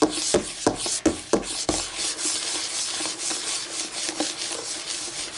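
Fingernails scratch and rub quickly across a flat, solid white laminate tabletop, making a bright, dry rasping hiss with a faint low hum beneath it. About five sharp taps land in the first second and a half, each cut off quickly. The scratching then carries on steadily until the end.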